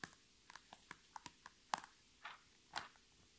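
Long red nails tap and scratch the top surface of a flat holographic PVC zipper pouch lying on a table with items inside. Quiet, sharp plastic clicks come at an uneven, unhurried pace, then give way to two short, bright scratching swipes against near silence.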